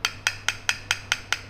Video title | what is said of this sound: RAKET BADMINTON LINING WINDSTORM FULL CARBON TANPA KAYU GO - HERAN - HERAN - RINGAN BANGET | teman-teman bisa tahu kan ini bukan apa, bukan kayu gitu, ini tuh karbon